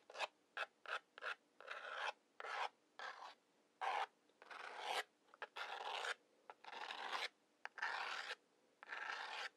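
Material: Cardboard.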